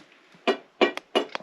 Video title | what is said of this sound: Day Dream Mine - Part 3 Broken Hill - Southern States Tour - Episode 30 | that's not solid that sounds Hollow